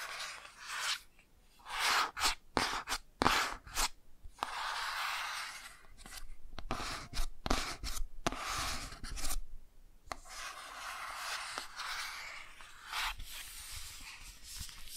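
Long nails and fingertips tap and scratch the front and back of a closed hardcover children's touch-and-feel board book with thick laminated cardboard covers. Sharp, dry clicks mix with longer bright, hissy scratching strokes, and brief quiet gaps fall between them. The sounds are soft, with little ring after each tap.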